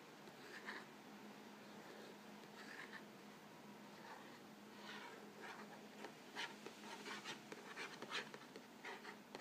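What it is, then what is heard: Cardboard cracker box being scratched. Fingertips and nails rub and scratch the front panel of a hollow, printed cardboard Vegetable Thins crackers box filled with crackers. The quiet, dry rasping comes in short bright strokes over a faint steady low hum, with the sharper scratches bunching up toward the end.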